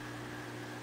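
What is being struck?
Nothing is struck.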